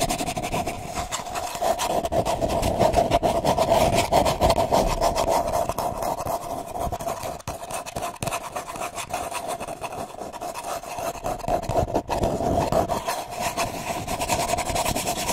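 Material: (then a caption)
Paper. Long nails scratch quickly along the outer wall of a hollow, empty brown kraft paper cup held in the hand. The result is a dense, continuous rasping rub with a steady resonant tone around 600 Hz and bright, papery hiss above it. The sound swells and eases slightly over the clip, with brief dips near the middle and end.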